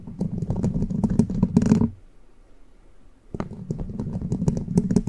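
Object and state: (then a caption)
Metal microphone grille scratched and tapped. Long pointed plastic witch-finger nail caps scratch and tap the hollow, rounded metal mesh grille of a large condenser microphone, first with one hand and then with both hands. Dense, rapid clicking and scraping with a low, boomy body and bright ticks comes in two bursts, split by a quiet pause of about a second and a half.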